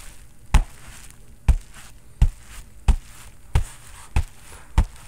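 A bare fist knocks a hand-sized grey and black Everlast synthetic leather boxing focus mitt, its padded foam covered with vinyl or leather and held up by the microphone. Seven deep, dull thumps land at uneven intervals, each dying away almost at once with little ring.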